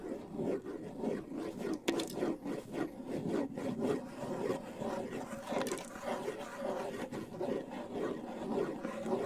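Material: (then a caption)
Wood, skin. Fingers rub and scratch the shell and skin head of a hollow wooden bongo drum. The result is a steady, dry scratching with a hollow mid-low tone and irregular strokes, broken by a few brighter scrapes.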